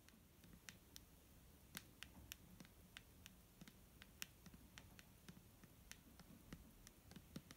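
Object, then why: Plastic bottle filled with liquid. A clear, medium-size, hollow plastic Garnier micellar water bottle with a green cap, filled with liquid and held in one hand, is tapped with the medium-length painted fingernails of the other hand. A quiet, irregular series of sharp, bright clicks and taps sounds over a low, steady background rumble, each tap dying away almost instantly.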